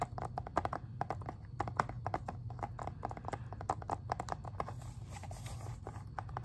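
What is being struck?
Plastic game case.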